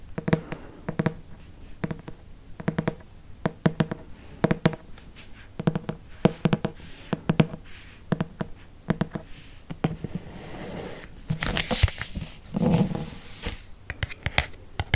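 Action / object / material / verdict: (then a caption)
scrape / hardcover paper book / cardboard and paper / none. Fingernails scratch and trace across the front and back covers of a red hardcover paper book. Dozens of short, dry clicks and scrapes land in quick irregular bursts, mostly low and dull, with brighter hissing scratch strokes building toward the end. Each sound stops almost instantly, with no ring.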